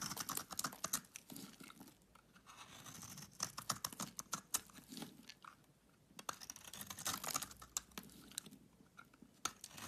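A solid pink bar of soap held in the hand is shaved into flakes with a utility knife blade. Quiet, close, crisp scraping and crunching clicks come in a dense, irregular stream, bright and light with almost no low end. The sound swells and fades in short bursts as the flakes come away.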